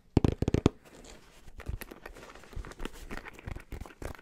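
Fingertips rapidly tap and scratch a black, rounded, fabric-covered hard-shell headphone case with a red detail. A quick burst of loud, dull taps opens the clip, followed by softer scratching and scattered taps that are dry and thuddy with no ring.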